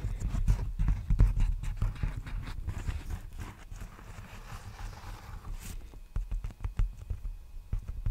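Fingertips tap and scratch an empty large black poly bubble mailer envelope held diagonally close up, making quick, irregular, dull low thumps with very short decay. The tapping is dense at first, eases into softer scratchy rustling in the middle, then returns as sparser, separate taps toward the end.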